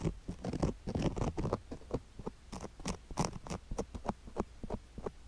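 A wooden stick held in the fingers scrapes across a sugar-covered silicone ear on a microphone block, making a rapid, irregular run of close, crunchy scratches. Each short, dry scrape is heavy in low rumble with brief bright grainy crackle.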